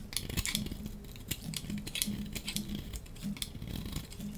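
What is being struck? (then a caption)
Bar of dry soap. A hand-held, hand-sized dry soap bar with blue and white stripes is shaved with a metal utility-knife blade. It makes a steady run of crisp, bright scraping crackles and sharp ticks over a soft low rumble.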